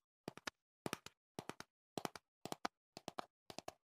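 Fingertips and nails tap the sides of a tall, hollow cardboard earplug box held close to the mic. The taps come in seven quick groups of three, 21 in all. Each one is a short, dry knock with a hollow, papery tone that dies away almost at once.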